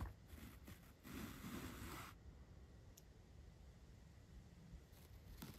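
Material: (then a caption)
Foam. A large paintbrush sweeps across the surface of a black foam microphone windscreen, close up. Soft, breathy brushing strokes come and go, with the longest and fullest sweep in the middle, all over a low, dull rumble. The sound is quiet and muffled, with little high content.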